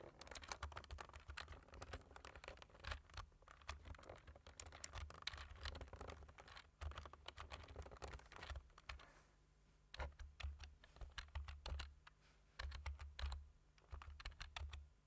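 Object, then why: Plastic computer keyboard keys. Two hands tap the black plastic keys of a low-profile computer keyboard with a white frame, using their fingertips. The result is rapid, dense, short clicking with bright edges over a steady low rumble, pausing briefly near the middle before the typing resumes.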